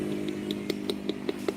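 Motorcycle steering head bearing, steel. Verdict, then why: Loose. A motorcycle's steel steering head bearing is knocked while the front end is supported from below to keep it balanced, giving a regular series of clear, short clunking knocks over a steady low hum. The knocks show the steering head bearing is loose.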